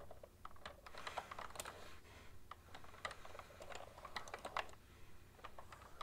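Both hands type steadily with long nails and fingertips on a full-size, cream-coloured plastic ergonomic keyboard with hollow plastic keys. The result is a quick, uneven run of light, clicky taps that die away almost at once, over a steady low hum.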